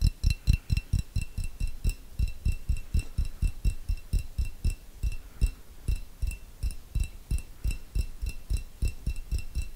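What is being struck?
Small glass jar.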